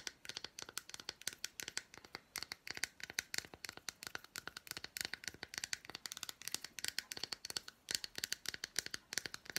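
Long black nails rapidly tap and scratch the squares of an unwrapped, hand-sized solid milk chocolate bar with red fruit bits. The result is a dense stream of sharp, dry, bright clicks and scrapes with almost no low end and no ring after each hit.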